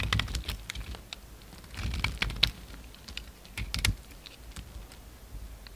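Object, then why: Bar of soap cut with a knife blade. A hand-held piece of solid cream bar soap is carved, scraped and shaved with a utility knife blade. The result is a run of quick, dry, bright scratching clicks and crisp ticks over a soft low rumble, louder in short bursts.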